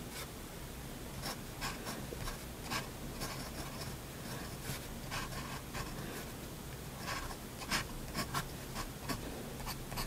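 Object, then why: Paper drawing sheet scratched by a steel pen nib. A steel fountain pen nib scratches lettering and fine lines across a flat white drawing paper sheet. Soft, continuous scratching is broken by short, bright bursts of nib strokes, over a steady low hum.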